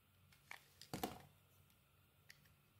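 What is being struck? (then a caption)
Bar of soap scraped with a metal blade. A metal blade scrapes and shaves the surface of a solid oval pale green soap bar held in the palm. Short, crisp scraping ticks rise into a louder, brighter crunch around the middle, then give way to a few faint scratches over a quiet background.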